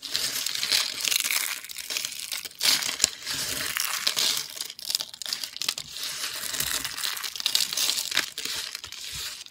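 Fingers snap thin, dry green-and-white soap pieces, then crush and rake through a pile of brittle soap chips. The result is a dense run of bright, crisp crackling and crunching with almost no low end, swelling and easing as the chips break and shift.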